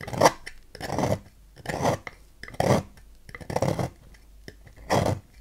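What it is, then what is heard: Bar soap being carved. A knife blade scrapes and cuts at the edge of a solid green oval Dex bar soap held in hand, piling shavings onto a white table. Dry, rasping strokes come in uneven bursts with quiet gaps between them, each scrape broadband with a midrange core and no ringing.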